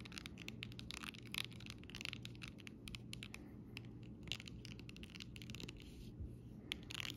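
A round-tipped dotting tool taps and rubs a flat sheet of raised, glossy plastic butterfly and lettering stickers on a clear plastic backing. Rapid, bright plasticky clicks and crinkly scratches come in quick bursts over a steady low hum, each tick dying away almost instantly.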